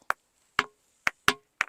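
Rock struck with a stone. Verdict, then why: Dull. A rock is struck five times, each hit giving a short, dull, chop-like knock that dies away almost at once. The rock does not ring, so no musical tone comes from it.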